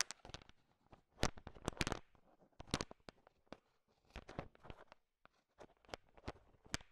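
A large pile of small, solid, sugar-shell-coated chocolate M&Ms is stirred with a thin wooden stick, making the candies click against each other. Bursts of sharp, bright clicks and rattles come in irregular clusters separated by brief near-silent pauses, and each click dies away almost at once.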